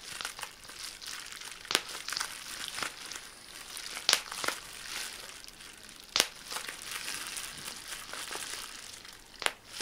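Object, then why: Plastic bubble wrap sheet. A clear plastic bubble wrap sheet is held bunched in both hands while the fingertips squeeze and pop its bubbles. Bright, steady crinkling of the film is broken by sharp, irregular pops that die away almost instantly.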